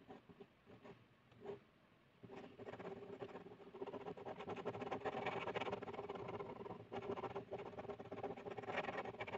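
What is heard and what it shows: A blue plastic ballpoint pen held in the hand draws on a flat white paper sheet lying on a hard surface. A few soft, separate scratches open the clip, then from about two seconds in, dense, continuous scribbling strokes scratch the paper with a dry, bright rasp that grows louder and steadier toward the end.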